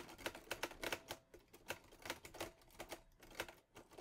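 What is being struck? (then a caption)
Metal portable typewriter keys. Fingertips type on the keys of a teal metal portable Olivetti Lettera 22 typewriter. The result is a quick, uneven run of sharp, bright mechanical clacks, each dying away almost at once, with a faint metallic ring near 500 Hz under the strikes.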